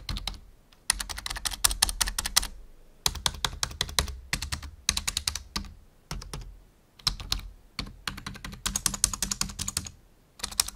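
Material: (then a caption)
Plastic. Fingertips type on a full-size black plastic membrane keyboard resting on a wooden desk. Bursts of rapid, bright key clicks with a soft low thump under each press are separated by short pauses. Every click is dry and stops almost instantly.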